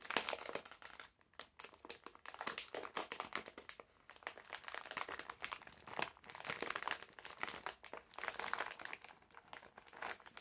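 A medium printed plastic-film bag full of hard candies is held in both hands while fingertips crinkle and fold the film. The result is dense, crisp, bright crackling with almost no low end, coming in quick bursts with brief quiet gaps.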